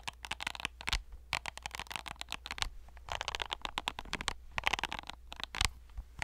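A hand-sized hollow plastic fidget cube with ridged and silicone faces and silicone buttons is scratched and tapped by fingernails close to the mic. Dense bursts of bright, crackly scratching alternate with short, sharp taps over a steady low hum.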